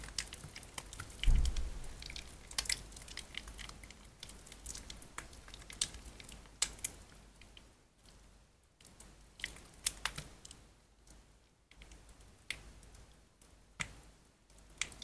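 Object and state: Soaked bar soap, soft and mushy.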